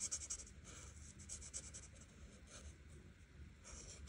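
An art marker tip strokes back and forth across a flat paper coloring book page, filling in the background. The result is a quiet, bright, scratchy rubbing with quick repeated strokes and a low, steady hum underneath.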